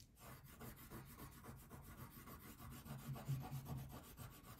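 A blue wax crayon rubs in repeated back-and-forth strokes across a thin paper coloring page lying flat on a table, while the other hand holds the sheet. The rasping strokes come steadily at about two per second, giving a soft, low, dull scratching texture with little brightness.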